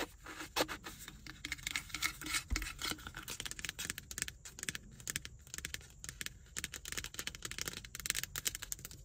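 Long nails tap rapidly on the sides and lid of a hollow black plastic car ashtray cup, making quiet, bright, dry clicks and scratchy taps in a dense, uneven stream. Each tap is short, with almost no ring.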